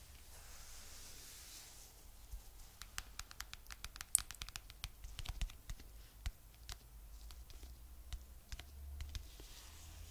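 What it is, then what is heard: Faux fur pouch scratched and tapped with nails. A mint green fluffy faux fur pouch with a "Chill Pill" patch is held up and scratched and tapped with long nails. Soft, brushy scratching mixes with quick, bright, dry clicks that cluster in the middle of the clip. A low, steady hum sits underneath throughout.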